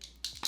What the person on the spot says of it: you can hear it it is a very fluid foundation